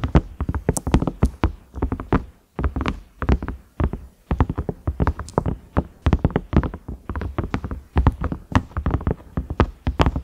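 Fingernails tap the round knob and the ridges of a large cream ridged microwave lid, likely silicone. Quick, dull taps come in rapid bursts with short pauses between them. Each tap is low and muffled with almost no ring.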